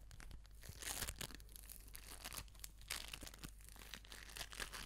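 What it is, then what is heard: Foam bead ball squeezed and scratched. An orange foam bead ball is held in both hands and squeezed and scratched with long nails close to a Razer Seiren X microphone. The result is a dense, continuous crackling and crinkling with bright, gritty rustles and brief louder bursts, over a steady low hum.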